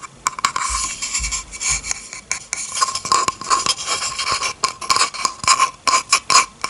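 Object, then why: Bamboo cutting board scratched with fingernails. Long red-painted fingernails scratch across the surface of a flat solid bamboo cutting board. The result is a steady run of bright, dry scraping strokes with a faint tone near 1 kHz and very little low end. Each stroke ends quickly with almost no ring.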